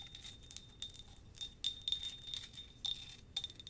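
Fingernails tap a small handleless ceramic cup bought in Japan, making a series of quick, bright clinks. Each tap gives a short, high chime-like ring that fades almost at once.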